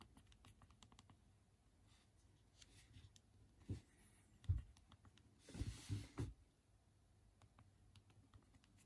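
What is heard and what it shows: Thumbs type on the small, hard plastic QWERTY keys of a Unihertz Titan phone held in both hands, with a thumb also touching the touchscreen suggestion bar. Quiet, continuous, quick key-press tapping is heard as soft, dull clicks, broken by a few louder, heavier thumps and a brief brighter rustle in the middle of the clip.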